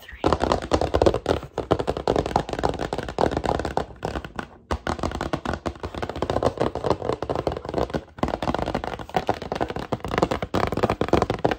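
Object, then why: Printed cardboard box lid. Long dark-painted nails tap and scratch across a large, rigid printed cardboard lid from a VIP merch box, printed with black-and-white photos and held upright. The result is a dense, continuous run of quick, dry taps and scratchy rubbing with almost no ring, a hollow papery tone, and brief pauses near 4.6 and 8.1 seconds.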